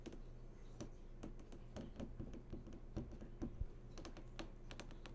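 Long nails tap along the glossy screen surface of a large, switched-on flat-screen TV near its lower edge. The result is a quick, uneven run of light, crisp clicks with very short decay over a steady low hum.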